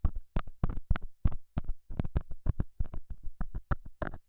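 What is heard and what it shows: A straight, pointed metal scaler tip scratches and pokes the surface of a small, solid, square beige felt pad mounted over a small lavalier mic. It makes nineteen short, dull, low, thumping scrapes at an uneven pace, each dying away almost instantly.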